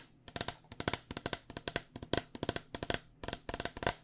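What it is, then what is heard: Plastic cycling helmet. A white cycling helmet with a hard plastic shell over a hollow foam body is held in hand and tapped with long dark-painted nails. About 24 sharp, quick clicky taps come in rapid bursts, each dying away almost instantly with a bright, hollow plastic tick and a faint resonance around 700 Hz.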